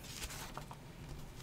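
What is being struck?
Nothing is struck.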